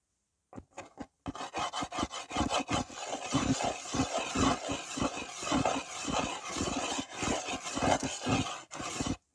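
A white slate pencil is dragged by fingertips across a small, flat, solid red-framed slate writing board held in one hand, scratching and drawing circles on its surface. Dense, gritty scraping strokes rise and fall in quick, uneven succession with a bright, rasping edge. After a few separate strokes at the start, the scratching becomes nearly continuous.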